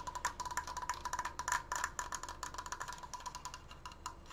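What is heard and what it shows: Fingernails tap rapidly on the side slats of a large, open, triangular triforce frame made of wooden slats. The result is a fast, uneven run of short, dry, hollow clicks, each with a faint ringing tone near 1 kHz and bright upper clatter that dies away almost at once.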